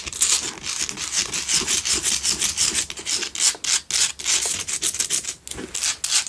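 A pink Himalayan salt single tealight candle holder is scratched with long nails while it is turned in the hand. The sound is a rapid series of dry, bright rasping strokes with almost no low end, rising and falling in short, uneven bursts.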